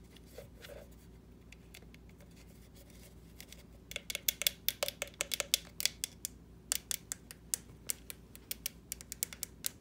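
Long nails tap on the face and sides of a small, hollow orange plastic jack-o'-lantern decoration. After about four seconds of near-silence, a quick, uneven run of sharp, bright clicks begins, each dry and gone almost instantly. The clicks are thin and hollow, centered around 3.4 kHz with almost no low end.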